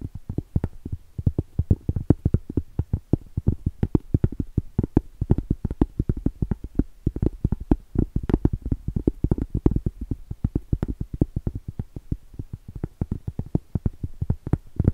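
Long stiletto acrylic nails rapidly tap and scratch the surface and edge of a round solid cork trivet held tilted. The result is a dense, steady stream of short, dull, muffled clicks, mostly low in tone and dying out instantly with no ring, with soft scratching between them.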